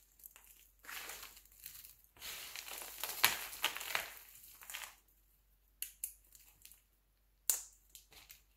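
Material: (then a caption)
Glycerin soap. Fingertips pinch, crumble and crush a large pile of brittle, mixed-color glycerin soap shavings (yellow, green and purple) on a white surface. Dry, crisp crunching and crackling, mostly high and bright, runs almost continuously for several seconds. It then breaks into short, sharp crunches separated by near silence.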